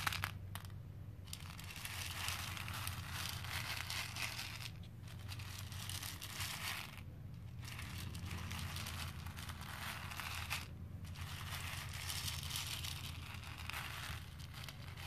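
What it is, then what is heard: Plastic pearl beads rubbed in a plastic bowl. Flat fingertips with dark-painted nails rub and press the surface of small cream plastic faux pearl beads filling a pink plastic bowl. The result is a dense, continuous bright crackling and rustling with a steady low hum underneath, broken by brief pauses around 5, 7 and 11 seconds.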